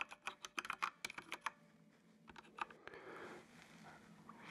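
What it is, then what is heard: Plastic mechanical keyboard. Fingertips type on the keys of a full-size black plastic mechanical computer keyboard with RGB backlight. A quick burst of sharp, bright, clicky keystrokes comes first, then a short pause and a few more scattered taps. It ends in a soft, steady rustling hiss.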